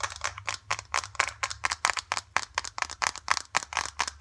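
Long dark acrylic nails and fingertips rapidly tap and squeeze a small, flat, filled green foil-laminate face mask sachet. About 23 quick, irregular, bright crinkly clicks and scratchy taps sound with almost no ring, over a faint low hum.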